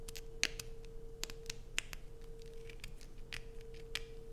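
Long acrylic nails scratch and dig into a solid blue bar of soap held in both hands, with occasional taps. Short, sharp, bright scraping clicks come at an irregular pace over a quiet, steady low hum.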